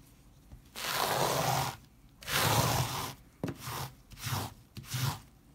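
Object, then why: Textile pile rug scrubbed with a stiff plastic brush. A hand scrubs a flat leopard-print pile rug, dusted with white cleaning powder on a tiled floor, back and forth with a white plastic stiff-bristle brush. Five broad, hissing scratch-rub strokes are heard: two long, loud ones followed by three shorter ones. The bristles drag over the pile with a low rumble under a bright, airy scrape.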